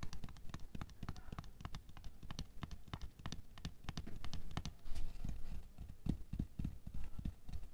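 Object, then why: Plastic canister filled with water beads. Long nails tap and scratch on the wall and clear lid of a tall clear plastic canister with a paper label, full of red water beads and lying on white fur. A quick, steady run of short, dull, low taps with almost no ring is heard, with a louder, rougher scratching stretch midway before the tapping resumes.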